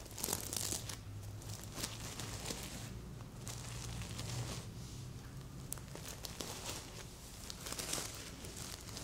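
Long nails scratch across a stuffed red sequin heart pillow and flip its sequins, making a continuous crinkly rustling with bright clicking flecks. A steady low hum runs underneath throughout.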